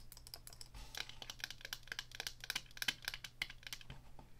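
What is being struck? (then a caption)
Plastic joystick controller. Long nails tap rapidly on the sides of a small, hollow black plastic Atari joystick held up in the air. The result is a dense, quick patter of short, dry, bright clicks with almost no ring, over a faint steady low hum.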